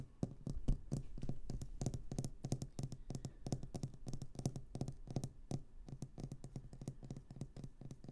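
Long green nails tap and scratch a small, solid round glass paperweight with a swirled orange and purple inside, resting on sequin fabric. The result is a rapid, steady run of quiet, short, dull taps with a low body around 137 Hz and faint bright clicking on top, with little ring after each hit.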